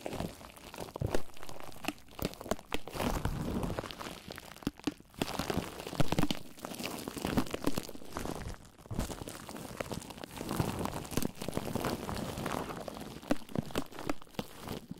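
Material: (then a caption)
Plastic. A sheet of clear plastic bubble wrap wrapped around a microphone head is crinkled and squeezed with fingertips. The result is a close, continuous stream of low, muffled crunches and crinkles with sharp crackling bursts, rising and falling in loudness throughout.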